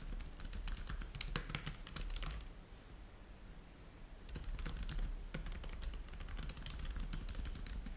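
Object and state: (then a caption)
Plastic laptop keyboard being typed on. Fingertips type on the black plastic keys of a plastic laptop keyboard, producing bursts of bright, crisp key clicks over a low background hum. The typing runs for about two seconds, pauses for roughly two seconds, then resumes in quick, irregular strokes to the end.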